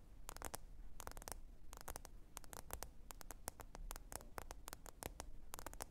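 Long orange nails tap rapidly on the glossy glass screen of a black smartphone lying flat on a faux fur mat. Quick, dry, bright clicks come in bursts and clusters over a steady low background hum, each tap dying away instantly.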